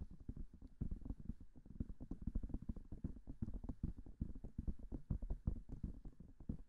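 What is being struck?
Silicone microphone ear.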